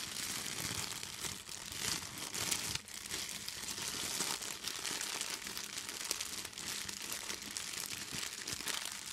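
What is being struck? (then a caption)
Empty plastic bag. An empty clear plastic bag is held up and crumpled by both hands with long green nails. A steady, dense crinkling runs through the whole clip, bright and hissy with almost no low end and only small dips in loudness.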